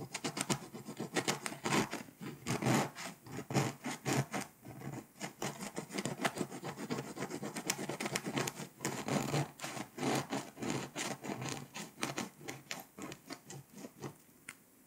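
A pink scraper, held by long nails, scratches the foil layer off a flat, foil-coated paper scratch-off map. The result is a steady run of short, dense, raspy scrapes, with broadband bursts that reach up into bright highs and small pauses between strokes.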